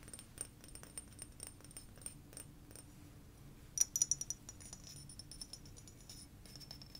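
A blue frosted glass sake bottle is held and tapped with long nails and fingertips. Quiet, quick, irregular clicks carry a bright, high glassy ring, with a brief cluster of louder taps in the middle before the tapping settles back to a soft patter.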